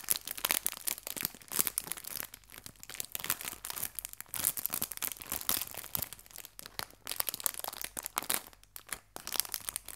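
A small clear plastic bag of artificial fabric leaves is pinched and crinkled at its edges with fingertips and long nails. It gives dense, bright, crackling crinkles in quick bursts with almost no low end. The crinkles stay quiet and close, with short pauses between the rustles.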